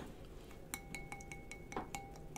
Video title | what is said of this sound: Happy Halloween ‘23 Twats! | sounds like glass to me yeah that sounds like glass